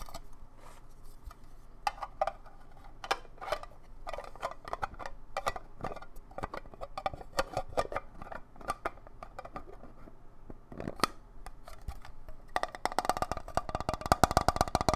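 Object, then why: Small hollow plastic box. A small, hollow, empty, transparent square plastic display-style box is held in both hands and tapped and scratched with fingertips and nails. It gives a run of quick, dry, hollow plastic clicks and taps with a mid-range resonance that barely rings. Near the end the tapping turns into a dense, louder flurry of rapid scratching and clicking.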